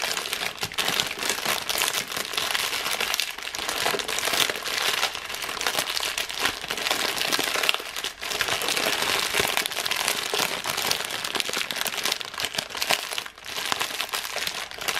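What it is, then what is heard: Crumpled plastic film wrapper. A thin printed plastic wrapper, torn off a biscuit box, is scrunched into a ball and crinkled in one hand with the fingers. The result is a steady, dense, bright crackling that lasts the full fifteen seconds and dips briefly only three times.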